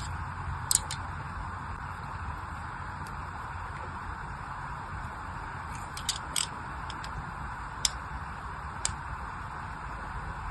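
A small black craft knife scratches more score lines into a solid pink-and-white striped bar soap, already covered in a crosshatch of cuts and held in one hand. Short, sharp, bright scratches and ticks stand out at scattered moments over a steady low hiss and rumble.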